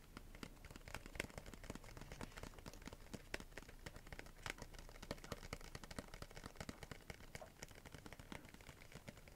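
Long nails tap and scratch across the surface of a small, flat, pink printed cardboard box held upright. The result is a quiet, steady stream of rapid, dry clicks and short papery scrapes, each dying away almost instantly, with a soft low rumble beneath.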